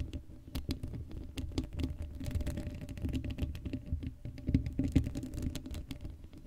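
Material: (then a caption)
Steel mesh. Long acrylic nails scratch and tap across the hollow black steel mesh grille of an uncovered Blue Yeti microphone. The result is a dense, rapid patter of short, dry clicks and scrapes, heavy in low rumble with faint, thin high ticks that die away almost instantly.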